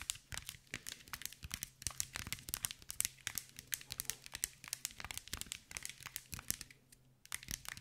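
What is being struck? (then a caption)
Glass mosaic ball. Long white nails tap and scratch a hand-sized green mirror-glass mosaic ball in a rapid, uneven stream of bright, crisp clicks and crinkly scrapes. Each hit dies away almost instantly over a faint low hum. The tapping pauses briefly near the end, then resumes.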